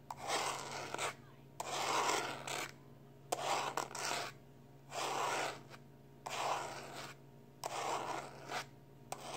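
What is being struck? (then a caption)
Plastic external hard drive casing. A small rectangular black plastic external hard drive with a printed label and a solid-feeling casing is held in one hand while the fingertips and short nails of the other hand scratch and rub across it. The result is repeated bursts of dry, raspy scratching, about a second each and separated by brief pauses, with occasional sharp ticks. A faint, steady low hum sits underneath.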